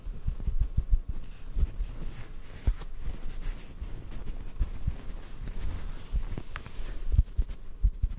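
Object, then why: Cotton ball. A small white cotton ball held above the microphone is gently tapped with fingertips. This produces soft, muffled low thumps over a quiet, continuous rustling bed. Each tap dies away almost at once, with no ring.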